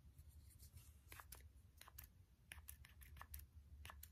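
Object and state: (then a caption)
Plastic spray bottle nozzle tapped. Fingertips and short nails tap the white plastic nozzle and collar of a small hand-held spray bottle with a clear body and a white plastic pump-spray head, held close. Short, bright clicking taps come in an irregular rhythm over a steady low hum.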